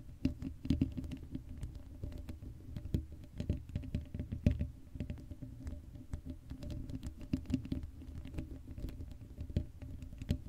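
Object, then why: Metal mesh microphone grille. Long acrylic nails rapidly scratch and tap the hollow black metal mesh grille of an uncovered Blue Yeti microphone. The result is a dense, quiet patter of short, dry ticks and scrapes over a heavy, boomy low thump that rises and falls without pause.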